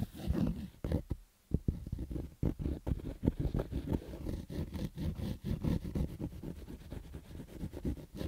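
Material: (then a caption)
Fabric. Fingertips scratch the stitched fabric crown of a black Adidas baseball cap resting on carpet. The result is a rapid, uneven series of rough, dull scratching strokes, heavy in low frequencies with almost no bright content. There is a brief quiet pause near the start.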